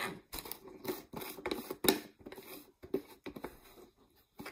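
Long nails tap and scratch on a large, hollow, mostly empty clear plastic Great Value peanut jar with a red plastic lid, including its label. The result is a series of quick, dry, hollow plastic taps with a resonance around 380 Hz, mixed with bursts of scratchy, papery scraping separated by short pauses.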